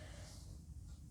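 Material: Nothing is struck.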